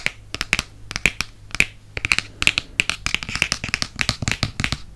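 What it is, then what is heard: Hardcover book. Fingertips and nails tap rapidly on the glossy board back and front covers of a Prisoner of Azkaban hardcover book. The clip is a dense run of short, sharp, bright clicks with a pitched ring near 2.6 kHz, and each tap dies away almost instantly over a faint low hum.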